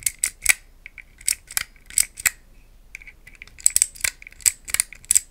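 A small green-tiled plastic puzzle cube, held in both hands, is tapped and scratched with long nails. Quick, bright, dry clicks and taps come in an irregular series, with softer, thin scratching in between. Each tap dies away almost at once.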